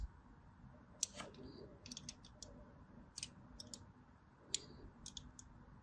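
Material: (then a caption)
Soap. A blade scores lines along the lower edge of a solid white bar of soap with a striped surface. About eleven short, crisp scratching clicks sound bright and dry, spread unevenly over a quiet, low background rumble.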